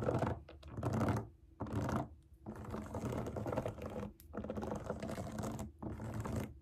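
Long acrylic nails tap and scratch the bubbles of a large round rainbow silicone pop it fidget toy resting on a table. Dense, soft, low clicking and scraping comes in several bursts separated by brief pauses.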